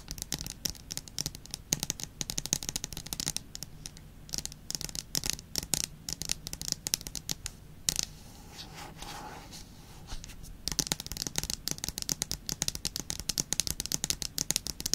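Long nails rapidly tap and scratch the aluminium back of an iPad near the Apple logo, with the tablet held upright close to the microphone. Dense, bright clicking taps run for about eight seconds, then ease into a softer, continuous scraping for a few seconds before the quick tapping returns through the end.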